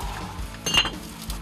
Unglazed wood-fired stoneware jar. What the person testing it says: 종을 두드리듯 맑은 소리가 나는 것이 특징입니다